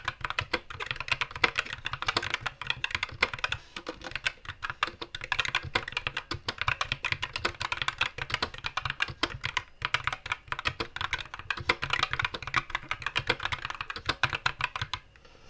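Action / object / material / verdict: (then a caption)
tap / mechanical keyboard with plastic keycaps / plastic / none. Both hands type with their fingertips on a compact white mechanical keyboard with plastic keycaps and a backlight shifting from green to red, resting on a wooden desk. A steady, unhurried stream of short, bright, clicky key taps continues for about fifteen seconds, with little low end and no ringing after each press.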